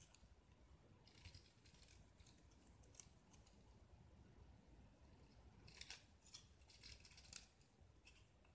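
A metal utility knife blade held in one hand scrapes and carves flakes off a small, solid white gypsum (plaster) brick piece painted with green spots, held in the other hand. Quiet, bright, crisp scratching strokes come in irregular bursts over a steady low hiss, with the sharpest, loudest scrapes near the end.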